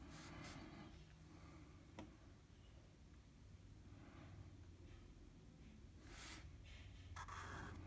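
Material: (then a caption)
Paper. A blue felt-tip marker colors in enclosed shapes on a flat sheet of drawing paper with short rubbing strokes. It makes soft, bright scratchy swishes in bursts over a steady low hum, with one sharper tick near the middle.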